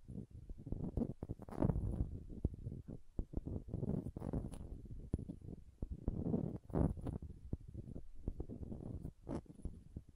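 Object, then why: Small glass dropper bottle. A small green glass dropper bottle with a silver collar is held upright while long nails tap and scratch its glass sides. Quick, dry taps mix with bursts of scratching, mostly low and muffled with faint high edges. The taps die away almost instantly.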